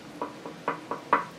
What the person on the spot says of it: this is a close cell as in the back's full